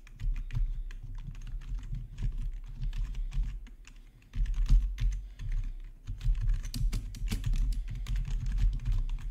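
Both hands type with their fingertips on a black plastic RGB backlit gaming keyboard. The result is a dense, continuous stream of soft key clicks over a strong low rumble, with a brief lull near the middle before the typing picks back up.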